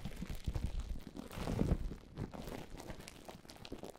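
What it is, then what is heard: Plastic bubble wrap. A large loose heap of clear plastic bubble wrap with hollow air cells is scratched and squeezed by long polished nails and fingertips. The sound is a soft, low-heavy crinkling and rustling, with short scraping bursts that swell in the middle and then settle into quieter scratching.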